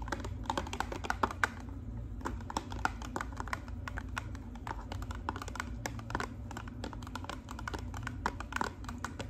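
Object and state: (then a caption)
Cardboard hair dye box. Long pink acrylic nails tap rapidly on the face of a narrow, hollow pink-and-white cardboard hair color box held upright. The result is a fast, continuous stream of crisp, clicky taps over a steady low hum.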